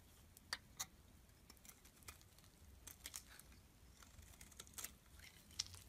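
A metal blade scrapes across the face of a solid black and white striped bar of soap held in the palm, shaving off flakes. Quiet, crisp scrapes and sharp ticks come in irregular bursts, bright and dry with almost no ring, over a faint low background hum.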